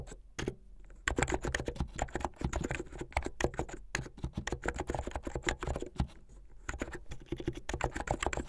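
Fingertips with medium-length painted nails type fast on a plastic mechanical keyboard with white and blue plastic keycaps. Dense, rapid keystrokes give short, dry clacks with a low thump beneath each press, and brief lulls appear near the start and around the six-second mark.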